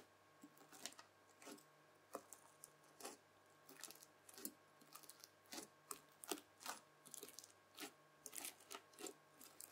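A mound of red bubbly slime is folded, then pressed with the tines of a white plastic fork. Quiet, bright crackling and squishy popping bursts come at irregular intervals, each dying away almost instantly. A faint, steady hum sits underneath.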